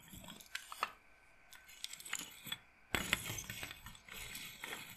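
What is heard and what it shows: Fingernails run across a wooden bead roller massager and tap its wooden beads in the wooden bead frame. The result is quiet, bright, dry clicks and light rattles with almost no ring, scattered through the clip, with a busier flurry of taps about midway.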